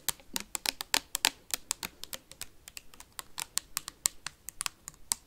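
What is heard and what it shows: A clear plastic hand sanitizer bottle, held sideways close to the mic, is tapped rapidly with metal paperclips worn on the fingertips. Twenty-eight sharp, bright clicks come in a fast, uneven rhythm, each dying away almost instantly with little low-end body.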